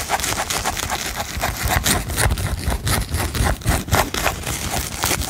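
Fingertips and nails scratch and tap the glitter-coated ears of a hand-span-wide mouse-ear headband with a blue plastic band and a satin bow, held in both hands. The result is a dense, fast, irregular run of dry scratches and short taps with a bright, crackly edge over a low rumble.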